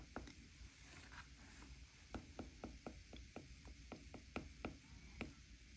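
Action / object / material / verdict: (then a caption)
tap / glass tablet touchscreen tapped with a plastic stylus / glass / none. A plastic stylus tip taps many small regions of a glass iPad touchscreen in quick succession while a hand rests on the edge of the tablet. There are 11 short, dry clicks, sparse at first and then coming faster, over a steady low rumble.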